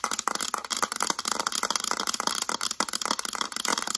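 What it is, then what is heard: Plastic calculator. Long acrylic nails rapidly tap and scratch the back of a mint-green hard plastic calculator. The result is a dense, continuous stream of sharp, bright plastic clicks and scraping rattles with almost no low end.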